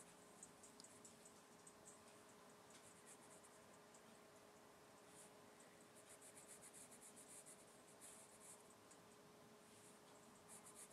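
A gloved hand draws on a large, flat, solid thin white A3 paper sheet resting on a wooden desk, using the graphite tip of a wooden pencil in small scratching strokes. Soft, bright, dry scratches come in quick bursts over a quiet hiss, with a faint steady low tone underneath.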